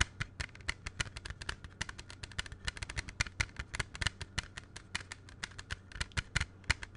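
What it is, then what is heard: Plastic CD jewel case tapped. Fingertips and nails tap rapidly on a closed, hollow, small plastic CD jewel case held in both hands close to the microphone, producing 42 quick, dry clicks with a bright top and almost no ring. A steady low hum runs underneath throughout.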